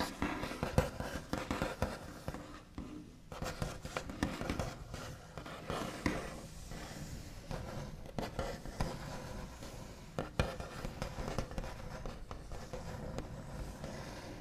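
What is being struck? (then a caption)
Wooden tabletop. Both hands tap and scratch with the backs of long nails across a solid, flat, white-finished wooden tabletop. Quiet, dull, low-heavy taps fall in quick irregular clusters, mixed with soft scratchy tracing strokes that die away almost at once.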